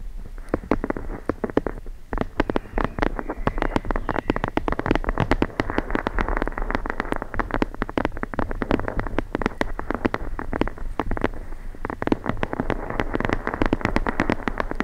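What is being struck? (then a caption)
Hardcover book page edges. Long blue acrylic nails tap and scratch along the page edges of a thick hardcover book held edge-on, its solid stack of paper pages giving a dense, papery body. Rapid, dry clicks fall over a continuous scratchy rustle, with a muffled low-mid tone and sharp, bright transients that die away almost instantly.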